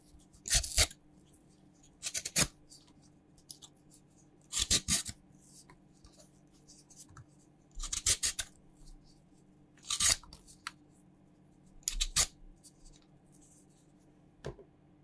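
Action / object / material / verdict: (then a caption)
scrape / raw purple sweet potato scraped with a peeler / sweet potato / none. A raw, solid purple sweet potato is held in the hand and scraped with a green peeler, its skin coming off in strips. Short, bright rasping scrapes come in repeated bursts with brief pauses between them over a faint low steady hum.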